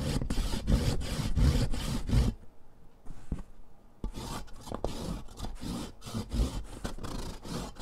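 A thick, solid green sidewalk chalk stick is grated by hand across the metal rasp of a purple foot file, with green powder falling onto cardboard. Rhythmic, gritty rasping strokes scratch back and forth with a low, rough body, pause briefly for a few quieter scrapes and taps, then resume at a steady pace.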